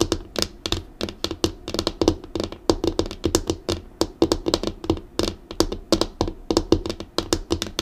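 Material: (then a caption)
Laminate. Long acrylic nails tap and drum on a flat, dark, solid laminated desk tabletop. It makes a rapid, steady stream of sharp, bright clicks, each dying away almost instantly over a faint, low hollow tone. The knocks cluster into quick rolling bursts and keep going through the whole clip.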